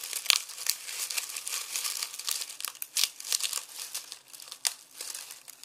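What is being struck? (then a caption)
Onion skins in plastic mesh bag. Fingertips squeeze and crumple dry, papery onion skins through a red plastic mesh produce bag that is loosely filled with them and rests on a bamboo cutting board. A steady stream of dry, bright crinkling and crackling is heard, with sharp snaps standing out and almost no low end. Each crackle stops instantly, leaving the sound crisp and papery.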